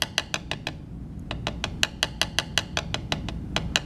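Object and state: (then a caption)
Carbon fiber composite panel, tap test. A black woven carbon fiber laminate block resting on a table edge is tapped 19 times across its surface by a hand-held metal tap-test hammer with a pointed head. Each tap is a short, bright, dry click centered near 3 kHz that dies away almost instantly. After the first five taps there is a pause of about half a second, then the taps resume at a steady pace.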